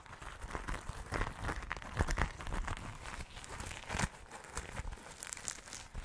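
Fingers and nails scratch and flip the sequins on a small, soft, hollow rainbow sequin pouch. The result is a dense run of close, crinkly scratching and quick clicking ticks with bright edges, over soft low thumps from handling. The strokes come in uneven bursts and die away almost at once.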